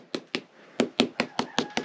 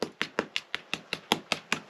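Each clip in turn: First: well-bonded lime plaster render on stone wall. Second: hollow lime plaster on a stone wall.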